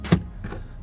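The steel door of a used 2006 Nissan Frontier XE King Cab pickup is shut from the front seat, giving a deep, low thud with a short ring and fainter follow-up knocks. It sounds solid, closing well with no rattle despite the truck's age.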